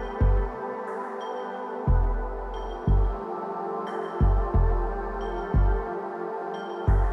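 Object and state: Nothing is struck.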